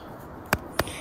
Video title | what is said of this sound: ANG PINAKAMALAKING KABUTE NA AKING NAHARBAT SA GUBAT NGAYONG AGOSTO! MUSHROOM FORAGING! PORCINI!!! | tinatapik para marami kong firm o matigas. Kung matigas po, solid